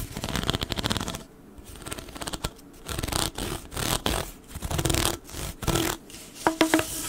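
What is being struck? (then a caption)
Corrugated plastic pop tube. Fingers scratch along the ridges of a hollow blue corrugated plastic pop tube as it is bent and stretched, making dense, bright, raspy scratching in bursts separated by brief quieter gaps. Near the end, a few short tonal squeaks ring out over the rasp.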